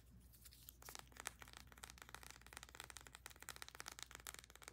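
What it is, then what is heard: Plastic bath soak tube. Long nails rapidly tap and scratch along a small plastic tube of bath soak with a paper label, held in both hands. The result is a quiet, dense stream of crisp, bright clicks and dry scraping rustle with almost no ring.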